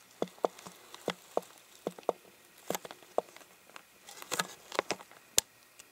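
An empty, uncapped clear plastic water bottle is tapped and flicked with fingers and nails, giving about eleven short, dry taps with a hollow, hollow-bodied tone. Toward the end, sharper flicks add bright, clicky snaps, and each hit dies away almost instantly.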